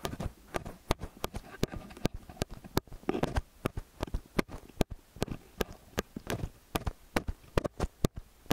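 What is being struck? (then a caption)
Metal stereo microphone capsules. Fingers and nails hold a pair of metal XY stereo microphone capsules and tap and scratch them throughout. Around thirty short, dry taps land in an uneven rhythm, each a close, bass-heavy thump with a sharp click and no ring. Soft scratching rustles fill the gaps between them.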